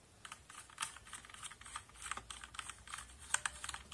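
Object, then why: Mechanical keyboard with plastic keycaps. A brush and fingers sweep across the rows of a backlit plastic mechanical keyboard with plastic keycaps, brushing over the keys and clicking them. The result is a quiet run of many short, dry clicks and light scrapes with a bright, high top end and almost no low end.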